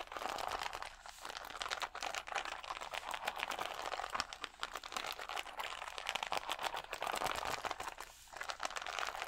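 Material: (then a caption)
Plastic. Fingertips and nails scratch and tap the acrylic gems on a clear plastic rhinestone sticker sheet held against the chest. The result is a dense, continuous stream of dry, bright crinkling and clicking with quick, sharp ticks and almost no low end, easing off briefly in short pauses.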